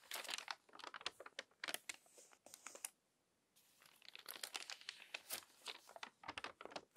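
A crumpled glossy paper magazine has its crinkly pages turned one after another by a long-nailed hand. Dense, bright crackling and crinkling bursts fill the clip, broken by a brief near-silent pause around three seconds before the rustling resumes.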